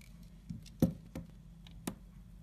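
A utility knife blade scrapes and shaves the cut face of a solid half of a round, multi-colored layered soap ball held in the hand. Repeated short, dry scraping strokes come through as soft crackly ticks with a low body and brief bright hiss. The strokes are spaced irregularly over a quiet low background.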